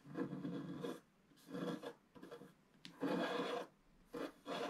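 A wooden stick scratches the black wax coating of the waves at the bottom of a flat, thin scratch-art picture card lying on a table. The clip is a series of dry, raspy scratching strokes of uneven length, separated by short quiet pauses, with some brighter grainy detail over a mid-range body.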